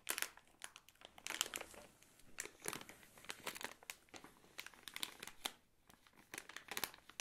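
A thin, crinkly plastic film bag of Katjes Saure Johannisbeeren gummy candies, filled with candies, is held and squeezed by fingertips with long nails, crinkling and being tapped. The result is quiet, bright, dry crinkles in irregular bursts with almost no low end and very short decay.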